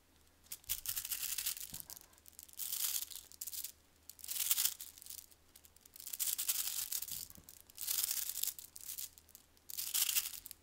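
A handheld cube of hundreds of small rainbow-coated neodymium magnetic spheres (solid metal balls) is squeezed and kneaded with fingertips and thumbs until it collapses into a shifting blob. The result is repeated bursts of dense, bright, crisp clicking and rattling, separated by brief near-silent pauses.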